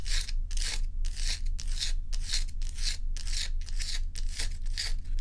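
Long acrylic nails scratch and rub the frosty face of a large, solid ice dome block held tilted. Bright, raspy scratching strokes repeat in a steady back-and-forth rhythm over a constant low hum.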